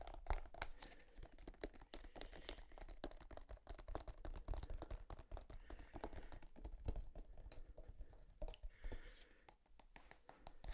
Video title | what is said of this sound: ASMR Tapping On EVERYTHING | never really thought about the material that tubes of toothpaste are made of but like this thick plastic it's kind of unique